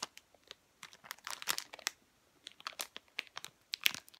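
A sealed, full, rectangular red plastic-film packet of McVitie's All Butter Shortbread, about 20 cm long, is held in both hands with long painted nails and squeezed and handled so the wrapper crinkles. Quiet, bright, crisp crackles and crunches come in short irregular bursts with almost no low end, each snapping off instantly.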